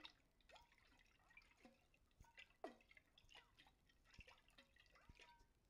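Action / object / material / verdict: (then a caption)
shake / glass jar with water / glass, water / none. A medium clear glass mason jar, hollow and partly filled with water, is held in both hands with long white-tipped nails and shaken and tilted so the water sloshes inside. Quiet, drippy gurgles and bubbly plops with quick sliding pitches follow one another, with a few sharper clinks.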